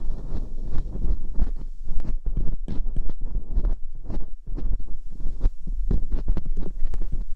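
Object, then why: Silicone ear mold scraped by a metal dental pick. Metal dental picks scratch inside the ear canals of the silicone ear molds on a binaural microphone. A dense, low, rumbling scrape runs throughout, broken by frequent sharp clicks and crackles that flick up into bright ticks.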